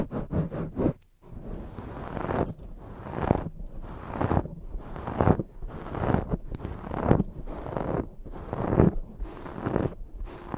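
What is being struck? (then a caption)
Foam microphone windscreen. Hands with long fake nails rub and scratch around a black foam microphone windscreen. The close, rough scratching comes in quick short strokes at first, then longer sweeping rubs separated by brief pauses. The sound is full and muffled, weighted toward the low end.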